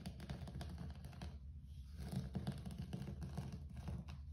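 Fingertips rapidly tap and scratch on a low-pile grey carpet floor, producing a dense stream of soft, dull, low thumps with faint scratchy rustling. The sound stays muffled and heavy in the lows, with almost no bright content and very short decay.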